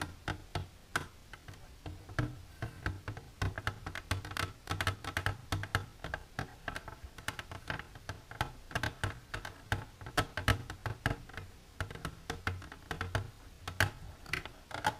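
Long silver nails tap rapidly and irregularly on the wall of an empty, transparent hard plastic container standing upright. The result is a steady stream of short, sharp clicky ticks that die away almost instantly, with a soft low hum underneath.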